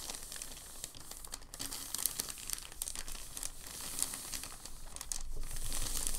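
Fingertips and palms press and smooth a large, thin, crinkled white packing paper sheet lying flat on a dark table, producing steady crinkling with sharp, bright crackles scattered throughout. A faint steady low tone sits underneath, and the crinkling grows louder and denser in the last second or so.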